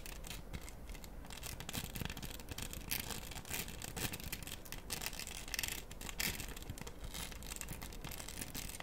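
Long stiletto acrylic nails scratch and tap across the beaded surface of a round, flat, solid floral diamond art coaster covered in plastic rhinestones, held close in both hands. The result is a steady, dense, bright rasp of scratching, dotted with quick, crisp clicks that barely ring.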